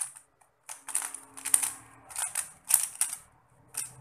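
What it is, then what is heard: Plastic puzzle cube being twisted. A small solid 3x3 plastic Rubik's cube with pastel stickerless tiles is held in both hands while the fingertips twist its layers in rapid turns. The turns make quiet, bright clicking and clacking bursts with almost no ring, separated by short pauses, over a faint low hum.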